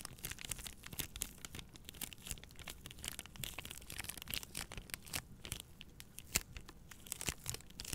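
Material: Plastic film.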